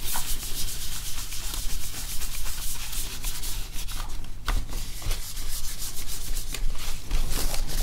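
A hand wipes and rubs the keyboard deck of an open plastic laptop, held upright, with a small cloth. The result is a continuous, steady scrubbing and rubbing over a strong low hum, with bright, streaky swishes as the cloth strokes back and forth.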